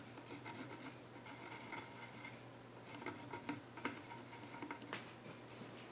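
A pencil tip scratches and sketches across the far edge of the flat top of a solid, reddish-brown wooden child's stool with visible grain. The result is a quiet, continuous dry rasping with brief brighter scratchy strokes over a faint steady low hum.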